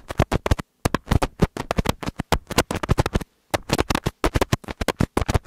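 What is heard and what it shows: Fingertips with medium nails tap and rub a pair of small black plastic earbud-style binaural microphones on thin cables, one held in each hand. It sounds like rapid bursts of close, deep thumping with a scratchy, rustling texture, broken by two brief silent pauses.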